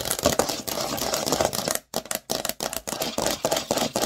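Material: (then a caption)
Plastic. A large, thin green plastic Lego baseplate with long nail tips tapping and scratching quickly over its studs. Dense, bright clicking and scraping runs almost continuously, broken by a few brief silences near the two-second mark.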